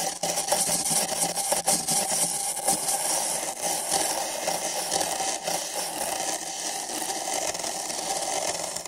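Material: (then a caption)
Paper. Nylon-bristle brushes on sticks scratch the walls of two identical empty printed paper cups fitted over microphone ears. The result is a steady, bright, scratchy brushing hiss with a papery midrange tone around 800 Hz. Small swells in loudness come from the repeated strokes.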